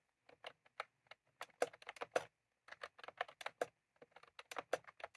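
Fingertips of both hands type continuously on a full-size plastic computer keyboard with round cream typewriter-style keycaps, resting on a desk. Quick, dry plastic clicks come in uneven bursts with two brief pauses, each keystroke centered in the midrange with a bright edge and dying away almost instantly.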